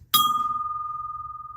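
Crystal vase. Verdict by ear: Real.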